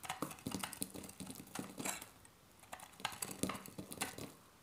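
A metal box-cutter blade shaves crisp flakes off the edge of a solid, hand-sized bar of dry retro soap with a green stamped face, held in the hand. Rapid, dry scraping and crackling cuts with bright, sharp transients and very little ring come in two dense bursts, separated by a brief quieter pause.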